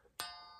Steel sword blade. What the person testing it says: that's a really super good test to see if everything is kind of built very solidly in a sword